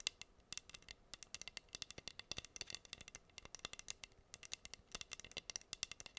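Long nails scratch rapidly across pink acrylic rhinestones on a flat, solid wooden heart board held upright. The result is a fast, dense run of dozens of tiny dry clicks and ticks that are bright and high, centered around 2.7 kHz. Each click stops instantly with almost no ring and very little low end.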